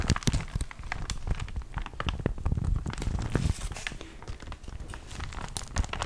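A thin paper catalogue with crumpled pages is held up and crinkled and bent by hand. Its pages give dense, continuous crinkling and crackling with many small sharp snaps over a soft, low rustle.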